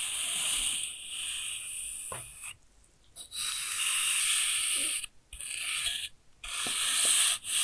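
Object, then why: Kinetic sand block cut with a steel knife. A steel kitchen knife slices with a scraping motion through a solid, packed pink kinetic sand block that is already cut into layered sheets. Five bright, hissing scrapes sound, separated by short silences, with almost no low end.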